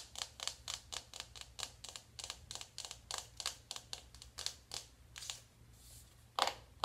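A small closed navy cardboard eyeshadow palette is held in one hand while long acrylic nails on the other hand tap its cover. A rapid series of bright, crisp clicks follows, with very short ring and a low steady hum underneath. A brief scratchy rustle comes near the end, then one louder, sharper tap.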